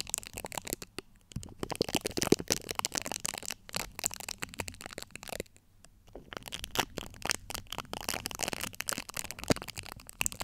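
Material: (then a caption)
Steel mesh. Long acrylic nail tips scratch the top of a large USB microphone's domed, hollow steel-mesh grille. The result is dense, bright, crackling scratches in rapid bursts with dry, instant decay, broken by short pauses near 1, 3.5 and 5.5–6 seconds.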